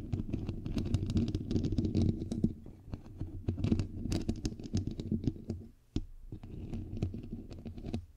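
Long nails and fingertips scratch and tap a bare, hollow microphone head with a white perforated metal mesh grille. The result is a dense stream of boomy, low rumbling scrapes and quick dry clicks. There is a brief drop to near silence about two-thirds of the way through before the scratching resumes.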